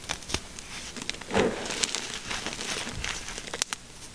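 Fingertips rub and scrape through a flat layer of crushed gym chalk (magnesium carbonate) powder with colored bits. A dry, bright crinkling hiss runs throughout, broken by sharp, quick crackling ticks, with a fuller, louder scrape swelling briefly near the middle.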